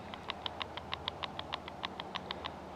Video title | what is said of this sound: Tisas 1911a1 US army pistol - 3years, 3500+rds, Wear & tear, range performance | it's a little bit of rattle